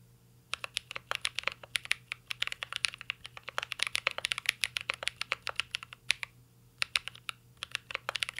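Fingertips type continuously on a mint-green Cyberboard R3 mechanical keyboard with a metal case and plastic keycaps. Dozens of crisp, bright clicks come in rapid, uneven runs, with a brief pause around the six-second mark. A faint, steady low hum sits underneath.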